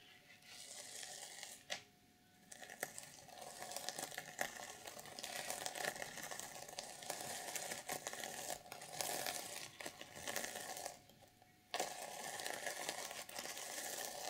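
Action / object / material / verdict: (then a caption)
scrape / sequin-covered fabric journal cover / sequins / none. Long purple nails scratch and brush across a reversible sequin fabric cover on a notebook, flipping the sequins from black to silver. The result is a steady, bright, crinkly rasp of tiny sequins clicking and sliding, with short quiet gaps near 2 and 11 seconds before the brushing resumes.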